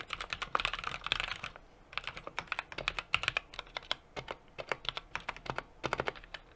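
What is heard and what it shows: A 60% mechanical keyboard with an aluminum case, brass plate and plastic keycaps is typed on steadily with the fingertips of both hands. The keystrokes are short, bright clicks and clacks with little low end, coming in a quick dense burst, then a brief pause around the two-second mark, then a run of more evenly spaced presses.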